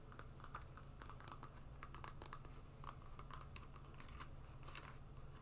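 Long nails tap and scratch the webbing straps and green rubber outsole of a rubber and webbing sport sandal. Quick, dry taps and bright scratchy rasps come in an irregular stream over a steady low hum that stays underneath throughout.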